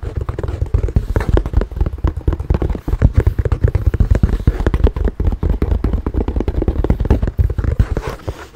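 Fingernails scratch and tap quickly across a tan leather handbag with brass buckles. The result is a dense run of short, dull taps and soft scratching, heavy in the low end and dying away almost at once.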